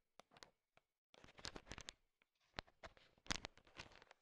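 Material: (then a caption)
Sugar shell. A thin wooden stick stirs through a pile of small, solid, colorful sugar-coated M&M candies, and the candies shift and click together. Quiet, dry, bright clicks come in scattered bursts and clusters with short pauses between them, each tick stopping almost at once.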